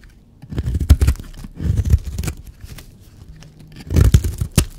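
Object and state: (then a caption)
Dry bar soap being scraped and carved. A blade scrapes and cuts shavings off a solid, dry teal bar of soap. The sound is a series of low, dull crunching and tearing scrapes that come in bursts, with a few sharper bright clicks between them.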